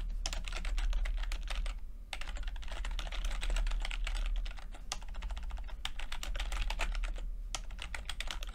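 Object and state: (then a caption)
Plastic computer keyboard being typed on. Fingertips of both hands type rapidly on a low-profile plastic backlit computer keyboard, tapping its flat, mostly hollow red/purple backlit chiclet keycaps over their switches. The result is a dense, uneven stream of bright, crisp clicks with a brief pause near the two-second mark, over a steady low rumble.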